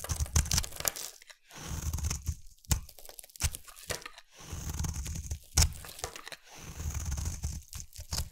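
A utility knife blade carves a hand-held, solid rectangular light pink soap bar into curly flakes. Repeated crunchy, scraping strokes come in bursts, each with a bright, hissy edge over a heavy low body and a few sharp cracks, separated by brief silences.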